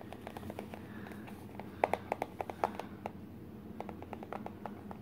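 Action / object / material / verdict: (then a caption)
tap / small printed cardboard box / cardboard / none. Fingertips and short nails tap the sides and flap of a small, hollow, empty printed cardboard Garmin box with its lid opened partway. The result is a quick, irregular series of light, dry, hollow taps that stop almost instantly, over a faint steady background hum.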